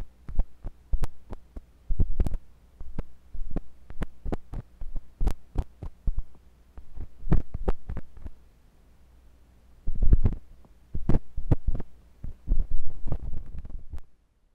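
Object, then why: Silicone ear of a binaural microphone probed with a metal tool. A thin metal pointed sculpting tool with a wooden handle, held by fingers with long pink nails, scratches and pokes inside the ear canal of a white silicone ear on a block-shaped binaural microphone. Sharp, dry scraping clicks and muffled thumps come in uneven bursts over a low, steady hum. A quiet pause follows near the middle before the probing resumes.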